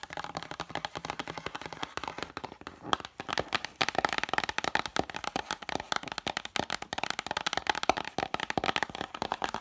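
Long matte dark nails tap and scratch quickly across the illustrated, paper-covered board cover of a single open vintage hardcover picture book standing upright. The result is a dense, steady stream of crisp, dry clicks and scratchy rasps centered in the midrange with a bright edge, each tap dying away almost instantly with no ring.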